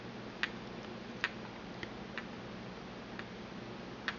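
A porcelain pestle taps the inner wall and rim of a small, empty white porcelain mortar held in the hand. Six light, irregularly spaced taps give short bright clinks that fade almost at once over a low, steady background hum.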